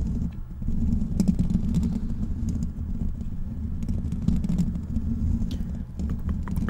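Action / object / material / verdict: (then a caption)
scrape / metal mesh microphone grille / metal mesh / none. Fingertips of both hands scratch the hollow black metal mesh grille of a large desktop microphone. The result is a dense, continuous low rumbling scratch with a boomy hum near 170 Hz, dotted with faint high clicks and crackles.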